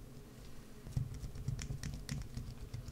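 A wood-handled carving gouge digs and scratches into the top of a solid green soap bar held in one hand, throwing off curls of soap. The sound is quiet, quick, irregular scraping and tapping, with soft low thuds under brief bright scratchy ticks that die away almost instantly.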